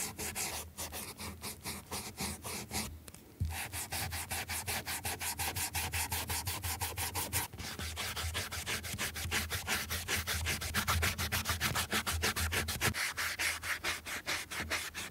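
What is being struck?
Leather flat shoe.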